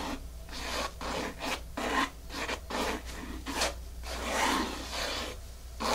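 Long fingernails scratch quickly back and forth over a flat, solid, dark grey porous foam mat. The result is a dry, airy rasping in uneven bursts, about six strokes with short pauses between them.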